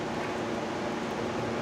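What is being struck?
Nothing is struck.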